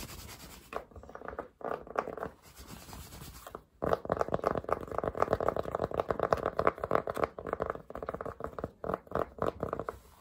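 Fingertips scratch and rub the crown and brim of a dark Polo cotton baseball cap worn on the head. The result is dense, rapid, irregular scratching centered in the midrange, with little bass or high end, broken by brief pauses near 1.7 and 3.7 seconds before growing busier and louder.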